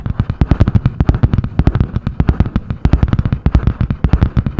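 A medium spiral-bound notebook with a butterfly-print hard cardboard cover, held in both hands, is tapped and scratched fast with long painted nails. Dense, rapid, dull thuds mixed with scratchy strokes run without pause, mostly low-pitched with brief bright clicks on top.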